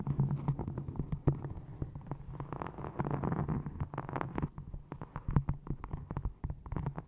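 A small hardcover book with a textured brown faux leather cover, held upright in front of the microphone, is tapped with long painted nails and fingertips. Rapid, uneven soft taps and clicks sound over a low, dull thump around 140 Hz, with brighter clicky edges on some strikes. Each tap dies away almost instantly.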